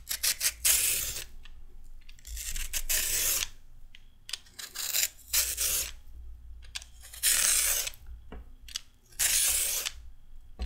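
A red metal peeler scrapes a small raw carrot piece in irregular strokes. Each stroke is a bright, raspy shaving burst, separated by short clicks and quieter pauses over a faint low hum.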